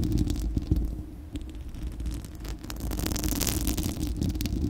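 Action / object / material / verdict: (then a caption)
scrape / steel wire-mesh microphone grille / steel mesh / none. A bare, hollow, fist-sized spherical steel wire-mesh microphone grille is scratched by long acrylic nails of both hands. This produces a dense, rumbling low scraping with a steady low hum. Bright, crackling scratches stand out toward the end.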